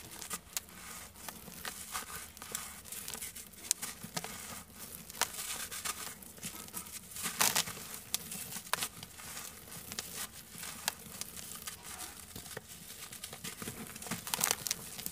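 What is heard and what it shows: A large, dry, solid chunk of sand-cement mix is held in both hands over a black plastic tub of loose dry sand while bare fingertips crush and rub it, making pieces crumble off. The sound is a steady, gritty crackling and crunching, mostly high and bright, with many sharp little snaps and a few louder crunchy bursts. Crumbled bits patter softly down into the sand below.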